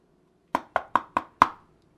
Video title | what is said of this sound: ECHO Science & Stories Online: Shadows | it's like knocking on a hard door not like knocking on a pillow a pillow soft a door is hard and this is hard too